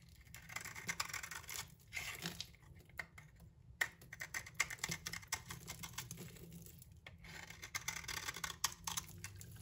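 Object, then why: Bar of soap scraped by a knife blade. A utility knife blade scrapes the surface of a solid green bar of soap held in the hand, shaving off curly shavings. The scraping makes a dense, bright, crackly rasp that runs in bursts separated by a few short pauses.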